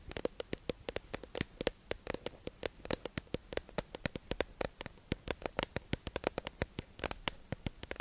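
A hollow, clear plastic tube-shaped package holding makeup sponges is held in the hands and tapped and scratched with long acrylic nails. Dozens of quick, sharp, dry clicks with a hollow plastic tone around 500 Hz ring briefly and bright, against faint scratching between hits.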